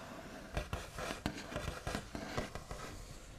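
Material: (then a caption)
Wood. The backs of curled fingernails tap and trace across the smooth, light-coloured top of a large, solid, white-finished wooden table. About seven short, dull knocks with a low, woody body and quick decay stand out over a continuous soft, scratchy rubbing, all at a quiet level.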